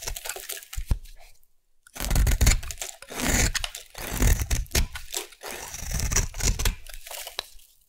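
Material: Soap.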